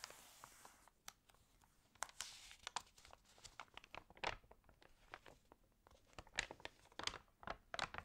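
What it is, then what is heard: Water-damaged paper magazine. Hands rub the pages of an open, water-damaged paper home magazine and flip a page with a crinkle. A steady bright hiss of rubbing is broken by many sharp, dry crackles and crinkles, most of the energy high with little low end.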